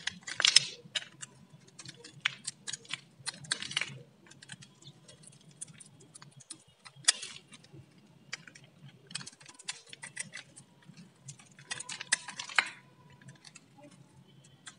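A metal utility blade shaves and scrapes the surface of a solid, palm-sized orange Lux bar of dry soap held in the hand. Quick, dry, bright scraping and crisp clicking strokes come in short bursts, with a faint low hum underneath.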